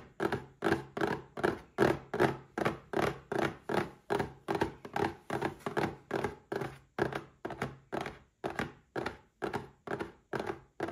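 A small red cardboard gift box standing upright is tapped on its sides with the fingertips in a steady, even rhythm. Each tap is a dull, hollow thunk centred in the low-mids around 360 Hz, dying away quickly with little ring.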